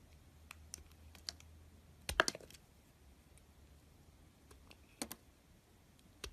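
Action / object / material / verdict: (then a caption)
scrape / bar of soap shaved with a metal knife / soap / none. A metal carving knife shaves and scrapes thin curls off a solid, hand-sized bar of soap with a red coated surface and a white interior, held in the fingertips. Sparse, short, crisp scrapes and clicks with a bright edge are heard, with a denser cluster near the middle, each dying away almost instantly over a quiet background.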